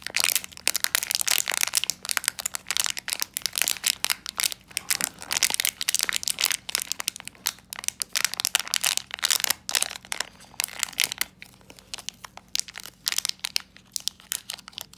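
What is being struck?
Small metallized plastic foil pouch.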